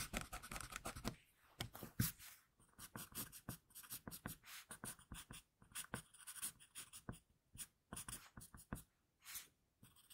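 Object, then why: Graphite pencil on a sheet of drawing paper. A hand draws graphite lines with an HB wooden pencil on a flat sheet of drawing paper, working on the same drawing throughout. It makes quiet, close, dry scratching strokes in quick short bursts, each with a bright papery rasp and a soft low rub underneath. Brief silent pauses fall between groups of strokes.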